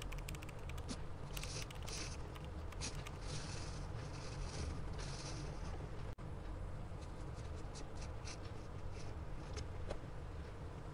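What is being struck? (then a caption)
Graphite pencil on paper sketchbook page. A gloved hand draws light circles with a graphite pencil tip on a large white spiral-bound sketchbook page lying flat on a pad, with a lav mic resting untouched on the page nearby. Soft, steady scratching strokes come in bright, brushy bursts over a constant low rumble, with a brief dropout around six seconds.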